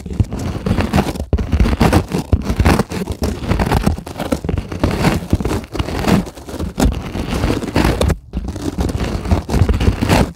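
Long acrylic nail tips tap and scratch across a white polyethylene packing foam sheet lying on a table. The result is a dense, continuous run of soft, muffled scrapes and crackly rustling taps, heavy in the low end with little brightness and only brief dips between strokes.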